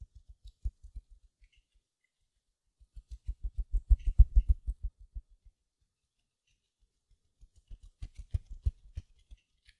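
A small silver glitter mesh-covered foam sponge held up close has its mesh surface scratched with long nails. Quick, soft, low scratchy ticks come in three bursts, the middle one densest and loudest, with near-silent gaps between.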